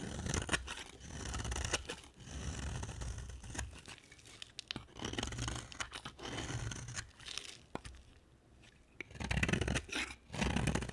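A utility knife blade carves and scrapes a solid white rectangular bar of dry soap into shavings. Dry, crunchy scraping strokes come in bursts separated by short pauses, each with a low rasp and a bright, papery crackle.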